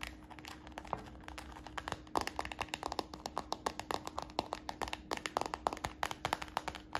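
Fingertips and nails tap rapidly on the stiff side of a hollow, empty brown translucent PVC plastic purse held in the hand. The taps are short, dry, crisp clicks in a quick, uneven run that gets louder and denser partway through, over a faint steady hum.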